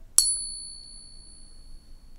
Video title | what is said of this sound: Fake One Dollar vs authentique | ça c'est la vrai le son cristallin